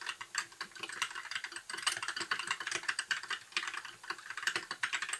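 Fingertips of both hands type continuously on a compact white mechanical keyboard with backlit plastic keycaps. The result is a steady, rapid stream of bright, crisp plastic clacks that die away almost at once, with no low-end weight.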